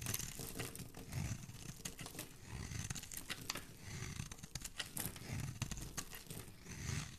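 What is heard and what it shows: A metal utility blade carves and scrapes a solid, palm-sized green bar of soap held in one hand, cutting the soft soap into curls and cubes. The result is a continuous run of crisp, crumbly scraping and crackling, with bright clicks and snaps over a low, rumbling body.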